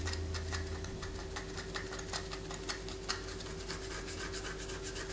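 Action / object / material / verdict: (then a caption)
scrape / bar of white soap / soap / none. Long fingernails scratch a palm-sized solid white soap bar held in the hand, with shavings falling onto a paper poster. Quick, irregular, bright scraping strokes rasp over a steady low hum and a faint constant tone.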